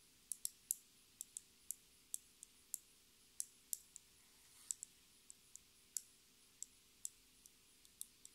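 A small, clear plastic lip gloss tube filled with pink gloss, with a metallic cap, is slowly tapped and scratched with long red nails. About 22 quiet, sharp, bright clicks ring out one at a time with very short decay. A faint scratching swell comes just before the click near the middle.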